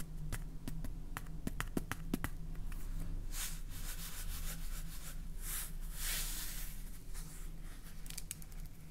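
Long painted fingernails tap the label and red plastic cap of a clear plastic salt jar full of salt, labelled "соль". Quick, dry clicks come first, then give way to softer brushing and scraping taps over a steady low hum.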